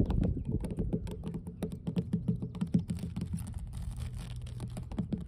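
Long blue nails tap and scratch on large, solid, weathered grey wooden dock planks with moss in the seams. A quick, uneven patter of dull, low, short knocks comes with faint, bright scraping between them. Each tap dies away almost instantly.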